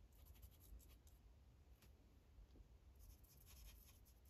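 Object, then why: Felt-tip marker on paper over a plastic clipboard. A light-blue Sharpie felt tip is rubbed in coloring strokes across a thin white coloring page resting on a plastic clipboard. The result is soft, scratchy strokes in bright, hissy bursts over a steady low hum. The bursts cluster at the start and again toward the end.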